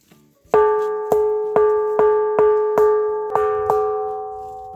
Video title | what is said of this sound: Pedra com som de sino de igreja ⛪ | quando a gente bate nela, ela tem uma sonoridade que nós escutamos porque ela está apoiada lá no outro lado por outra pedra